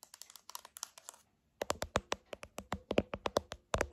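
Long nails tap and press the buttons of a silver plastic TV remote control held in both hands. About 26 short, dry clicks with a hollow plastic ring near 570 Hz come in a quieter run, pause for about half a second, then return louder and more spaced out to the end.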